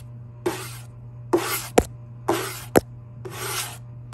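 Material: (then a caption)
Wood. A fingertip with a short nail scratches and rubs along the grain of a flat, solid wooden surface with light oak-like grain, possibly a table or door, heard close up. Four bright, raspy scratching strokes alternate with two sharp, quick taps, and a final stroke begins at the very end. A steady low hum runs underneath throughout.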